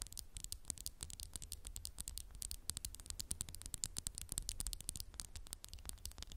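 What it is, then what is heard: Textured glass candle jar. A candle in a textured glass jar is tapped rapidly and continuously with fingernails. The taps are quick, bright, high clicks that die away almost instantly, over a quiet, steady low rumble.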